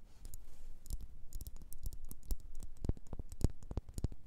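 Long nails tap and scratch a solid red faceted wax pillar candle, producing a quick, irregular run of short, dry clicks and scrapes with bright crackly edges and a soft low thump beneath them. The taps stay close and quiet, each dying away almost instantly.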